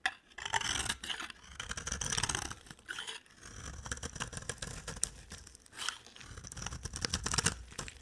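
A solid white bar of dry soap is carved into curls with a utility-knife blade, giving bursts of dry, bright scraping and crackling. Several strokes rise and fade over the clip, with short quiet gaps between them.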